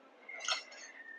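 Freshly fried potato nuggets are tapped with a spoon, giving short, bright, crunchy clicks with sharp high-frequency content. The nuggets are crispy.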